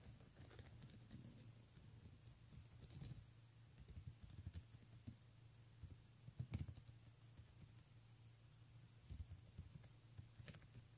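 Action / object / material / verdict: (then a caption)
tap / plastic beaded handbag / plastic / none. Long nails tap and scratch across the bead rows of a pink and clear plastic beaded handbag. The result is soft, scattered clicks and light scraping with bright, short ticks over a quiet, steady low hum.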